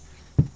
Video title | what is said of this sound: how do you know when cacao becomes ripe? | pag inalog mo, ayan o, may separation sound sa loob